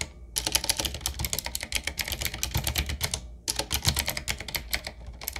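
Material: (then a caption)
Plastic. Fingertips of two hands type on a 7Keys retro typewriter-style mechanical keyboard with round black plastic keycaps on a wood-trimmed frame. Rapid, bright, clacky keystrokes with short, dry decays run steadily over a low thump, with one brief pause past the midpoint.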